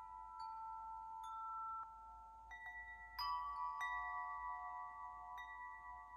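A large hollow metal tube wind chime, held up by one hand, is gently swayed so its tubes ring. Soft strikes set off clear, bell-like tones centred near 1 kHz with bright overtones, and each tone overlaps the next as the notes sustain and slowly fade.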